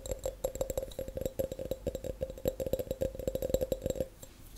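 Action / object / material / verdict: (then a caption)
tap / glass tumbler / glass / none. An empty, clear, hollow glass tumbler held on its side is tapped rapidly on the bottom and sides with long acrylic nails and natural nails. The result is a dense run of quick, bright clicks with a short glassy ring near 527 Hz.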